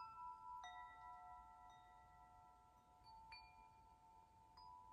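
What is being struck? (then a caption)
Hanging metal tube wind chime. Fingers gently knock the tubes of a hanging hollow metal tube wind chime, letting them sway and chime. Soft, clear metallic strikes set off steady, overlapping ringing tones around 1.3 kHz with bright overtones. Each strike sustains for several seconds before fading under the next.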